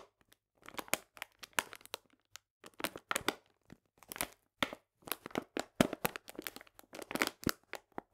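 A 500 g paper bag full of cane sugar, held upright, is squeezed and crinkled with fingertips and nails. Quiet, dry crinkles and crunches come in short, irregular bursts, with crisp, bright paper texture and a soft granular crunch from the sugar inside.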